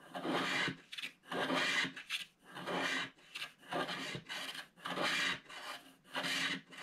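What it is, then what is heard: Scratch art card being scraped. A black-coated scratch art card, held flat by the fingertips of one hand, is scraped with a wooden stylus that clears the black wax layer from the top. About twelve bright, rasping strokes come in uneven bursts with short quiet gaps between them. Each scratch is dry and papery and stops with almost no ring.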